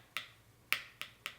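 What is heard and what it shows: A spoon taps four times on the cooled, torched caramelized sugar crust of a crème brûlée, making sharp, bright, high-pitched clicks that die away almost instantly. The hard, glassy ticks show the caramel has set into a brittle crust over the custard.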